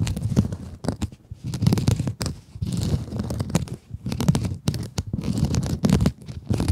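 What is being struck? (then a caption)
Mesh scrub sponge. Long acrylic nails scratch across a small pink scrub sponge with a glittery mesh surface. The result is dense, low, rumbling scratchy bursts with crinkly texture, broken by short near-silent pauses between strokes.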